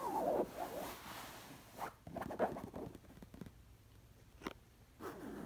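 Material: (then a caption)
Cotton knit. Long nails scratch the surface of a soft, stuffed black cotton pillow covered in black knit fabric. Quiet, muffled scratching comes in uneven bursts, with soft strokes and a few short, sharper taps against a hushed background.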